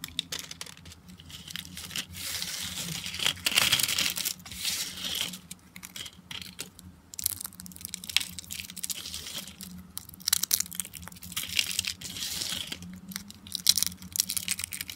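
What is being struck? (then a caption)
Thin dry soap slices. Fingertips with lilac nails bend and crush a pile of thin, flat, dry peach-colored soap squares with dark specks, breaking them into crunchy fragments. Dense bursts of bright, dry crackling and crinkling come in waves with quick snaps, over a faint steady low hum.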